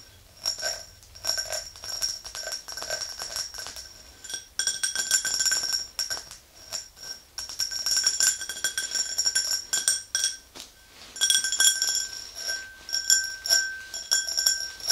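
Long nails tap the rim and sides of an empty, hollow, clear glass tumbler in quick, irregular bursts. Each tap gives a bright, high clink with a short ring that fades fast, over a quiet background.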